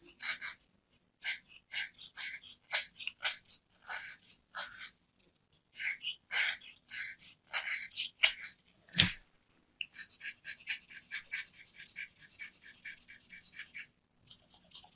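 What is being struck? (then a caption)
Bar of soap shaved by a metal knife. A metal craft knife shaves the edge of a small, round, solid white soap bar held in the hand, peeling off powdery flakes. The clip is a run of short, dry, bright scraping strokes with brief pauses, and one sharper, louder scrape near the middle. Toward the end the scrapes come in a quicker, denser stream.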